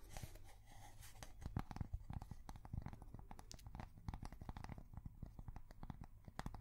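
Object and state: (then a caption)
Cork coaster. A thin, solid, square cork coaster is held up and tapped and scratched with long fingernails. Many quick, dull, low taps mix with soft scratchy rasps, each sound dying away almost at once. The whole clip stays quiet and close.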